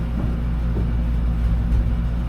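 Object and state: Nothing is struck.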